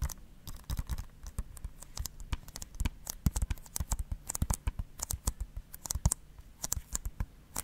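Fingernails scratch a hollow blue plastic Blu-ray case held beside the mic, giving a quick, uneven run of short dry scratches and clicks. Each stroke has a soft low thump from the hollow case and a bright crackling edge, dying away almost instantly.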